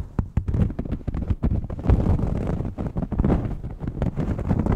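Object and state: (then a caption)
Knit fabric shirt being scratched. Fingernails scratch across a red ribbed knit shirt held up in the air, working over its white collar band and the knit itself. The result is a dense run of quick, dry scratching and rustling strokes, heavy in the low end with soft brushy texture on top.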